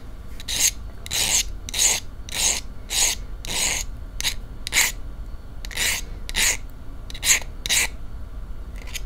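A wooden match head is rubbed and scratched repeatedly along the striker strip of a small cardboard matchbox held in one hand, without lighting. About sixteen short, bright, rasping strokes come at an uneven pace over a faint low background hum.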